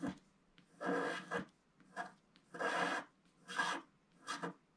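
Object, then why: Wax-coated scratch-art card scraped with a wooden stick. A wooden stick scratches the black wax coating on the lower part of a flat scratch-art picture card, a thin solid sheet lying on a table. Short, dry rasping strokes come in quick bursts separated by quiet gaps. Each stroke has a bright, gritty texture with little low end.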